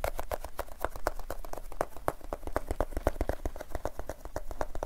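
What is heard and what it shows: A small flat paperboard Extra chewing gum pack, likely holding gum pieces, is held in both hands close in front of the recorder and tapped and handled with fingertips and nails. It makes a rapid, steady run of short, dry, hollow papery taps with a midrange knock and almost no ring.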